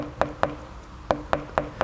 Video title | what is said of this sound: Continental Tire - Extreme Contact Sport - Ultra High Performance Tires | it's so hard that you can peck on it with my pin and you can hear the noise